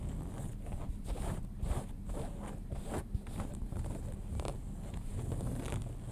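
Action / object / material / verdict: scrape / cotton denim jeans / denim / none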